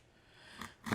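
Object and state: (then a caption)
Crisp baked pie crust. A knife slices through a brown butter pecan pie, cutting into the pastry crust. Two short, crisp crunches sound, the second louder. The crust is baked crisp.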